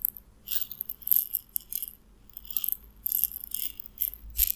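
A small clear glass bottle with a white plastic cap, partly filled with white round pellets, is held in the fingers and shaken. The pellets rattle against the glass in short, bright bursts separated by brief quiet gaps, over a faint low hum.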